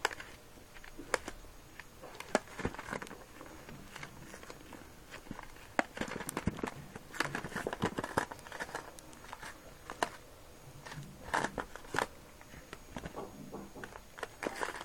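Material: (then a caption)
Latex rubber. A small, filled, soft red latex balloon with a glossy surface is squeezed and rubbed with moist fingers and thumbs. Quiet, dense rubbery squeaks and crinkly friction sounds are broken by sharp, brief clicks and pops, with a faint tonal squeal running through parts of the clip.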